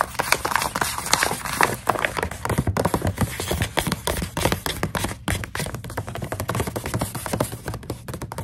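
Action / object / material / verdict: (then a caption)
tap / plastic snack pouch with dried coconut strips / plastic / none. Long nails tap and scratch across the surface of a full plastic snack pouch of dried coconut strips. A rapid stream of short, crisp ticks and crinkly scrapes follows, each dying away almost instantly over a faint low hum.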